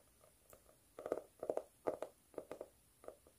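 Long stiletto nails scratch and tap the flat, speckled cork cover of a notebook held upright, with a highlighter held alongside but not struck. Soft, dry, mid-pitched clicks and scratchy taps come in quick, uneven clusters, each dying away almost instantly with no ring.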